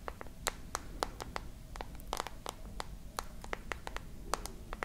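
A glass and metal smartphone held horizontally is tapped and scratched on its glass and frame by long nails. About twenty-two quick, dry clicks with bright, crisp edges and almost no ring follow one another in an uneven rhythm. Faint scratching and a steady low rumble run underneath.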